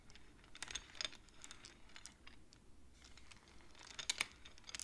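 Long-nailed fingertips tap and push the painted wooden beads of a wooden abacus along its metal rods, so the beads clack together. The result is a quiet, steady run of quick, dry, bright clicks and clacks with almost no ring, rising to a few louder clacks near the end.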